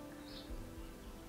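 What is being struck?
Nothing is struck.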